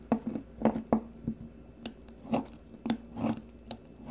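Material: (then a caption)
Soap. A solid green bar of soap held in the fingers is shaved with the metal blade of a blue peeler, leaving shavings around it. A series of short, crisp scraping strokes has a low, woody tone and a quick, dry finish with almost no ring.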